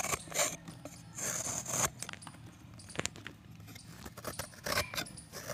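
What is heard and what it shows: A box-cutter blade shaves a solid pressed chalk disc, peeling long flakes off into a pan full of chalk chips. Bright, dry scraping and crunching come in short bursts with crisp high-pitched edges and little low end.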